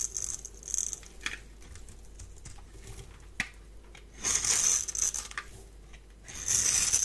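A palm-sized, solid rectangular bar of dry white soap is held in one hand and shaved with a metal blade, producing white flakes. Bright, crisp scraping and crinkling bursts from the shaving strokes alternate with quieter stretches and a few sharp ticks.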